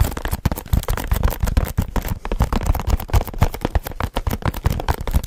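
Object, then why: Small cardboard box. Fingertips and nails rapidly tap and scratch the surface of a small, hollow, orange printed cardboard snack box held close to the mic. The result is a dense string of short, dry, thumpy knocks with a deep hollow body, mixed with faint scratchy rustles, each tap fading almost at once.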